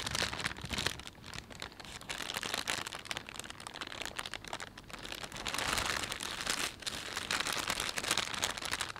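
Fingers rub and fold a thin, empty plastic panda shopping bag, producing a steady stream of bright, dense crinkling. The crackle swells and eases in waves over the clip, with very little low end beneath it.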